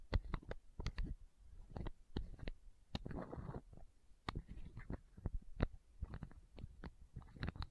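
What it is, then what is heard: Plastic eye drop bottle. Long nails tap and scratch a small clear plastic eye drop bottle and its cap, held horizontally close to the microphone. Quick, dry, clicky taps come in irregular clusters, with a short rustling scratch partway through. The sound is quiet, with most of its weight in a soft low thump under each click.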